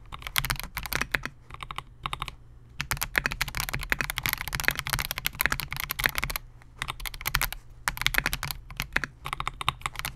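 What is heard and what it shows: A compact 68-key Melgeek MOJO68 mechanical keyboard with Gateron G silver pro switches, a clear polycarbonate case and SA-profile plastic keycaps rests on a desk mat while the fingertips of both hands type on it continuously. Rapid, bright, clacky keystrokes come in dense bursts separated by brief pauses, each click dying away almost instantly over a faint, steady low hum.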